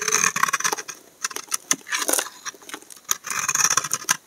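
A steel utility knife blade scrapes shavings off the embossed face of a solid cream-colored Dove soap bar held in one hand. The result is a run of dry, bright scraping strokes and short crisp bursts with a high hiss and almost no low end, separated by brief quiet gaps.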